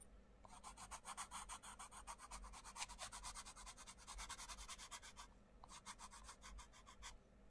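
A wooden coloured pencil rubs and scratches across the page of an open paperback colouring book resting on a wooden table, making quick back-and-forth colouring strokes. The strokes come as a steady run of bright, raspy scratches for about five seconds, pause briefly, then resume for another burst before stopping, over a faint low background rumble.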